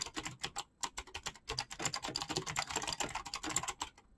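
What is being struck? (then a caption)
Mechanical keyboard with PBT plastic keycaps. Fast fingertip typing on a black mechanical keyboard with clicky switches and PBT plastic keycaps. It produces a rapid, uneven stream of bright, sharp clicks with very little low end, each keystroke dying away almost instantly. There is a brief pause early on before the typing resumes at a steady quick pace.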